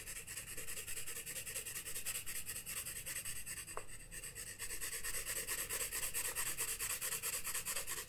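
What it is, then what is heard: Pencil shading on a paper sketchbook page. A graphite pencil held in the fingertips shades the white page of a spiral-bound paper sketchbook lying flat on a wooden desk, with a loose paper sheet laid over part of it, in steady back-and-forth strokes. The rubbing and scratching makes a continuous bright, hissy rasp that pulses with each stroke, with a brief soft tick near the middle.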